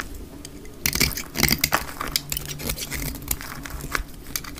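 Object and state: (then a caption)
Dry soap bar being cut. A solid rectangular dark green bar of hard, dry soap is held in the hand and scraped and cut with a metal utility blade. Bright, crackly scraping and crisp snapping cuts come in quick bursts over a faint low hum.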